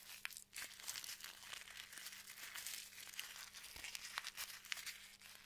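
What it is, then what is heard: Crinkly plastic bag. A large, thin, white printed plastic bag lies flat and empty on a table and is scratched and rubbed with fingertips and nails. It produces steady, bright crinkling and rustling with sharp little ticks scattered throughout, over a faint constant low hum.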